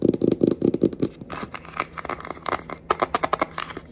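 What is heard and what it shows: Long acrylic nails tap and scratch on a flat rectangular red cardboard Sheglam eyeshadow palette, a thin hollow box, working over the front cover and the edge. A quick run of hollow, low-toned taps comes first. These are followed by lighter, brighter clicks mixed with dry scratching, each tap dying away almost at once.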